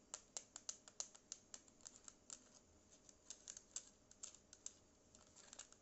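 Long nails tap and scratch the body and edge of a small black Bluetooth speaker with a hollow, matte plastic casing and a yellow logo. About 26 quiet, sharp clicks sound in an uneven rhythm, bright and crisp with almost no low end. Each one dies away almost instantly, with faint scratchy texture between taps.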